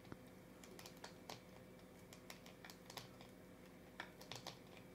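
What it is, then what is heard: Hollow plastic toy capsule. A hand-sized, purple-and-white hollow plastic Hello Kitty-shaped LOL surprise capsule is held in both hands and tapped and scratched with long dark-painted nails. Quiet, sharp, bright clicks and taps come in irregular bursts, like light typing, over a soft steady hum. Each tap dies away almost at once.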